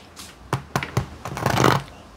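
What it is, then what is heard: Crusty baked bread loaf. A freshly baked homemade no-knead bread loaf has its crust tapped: three separate hollow taps, then a quicker, denser run of crackly knocks. The crust sounds crusty and hard, and it is well browned.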